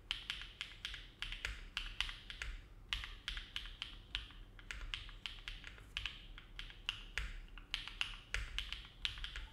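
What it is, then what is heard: Mechanical keyboard with aluminum plate. A compact silver-cased mechanical keyboard with an aluminum plate and dark plastic keycaps, resting on a desk mat, is typed on steadily with the fingertips of both hands. It produces a quick, uneven stream of short, crisp clacks with a bright, clicky tone centered around 3 kHz. Each press dies away almost instantly over a low, soft background hum.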